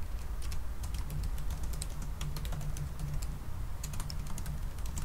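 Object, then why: Laptop keyboard with plastic keys on an aluminium body. Both hands type fast with their fingertips on a silver aluminum laptop keyboard with black plastic keys. A rapid, steady stream of light, bright key clicks runs throughout over a constant low hum.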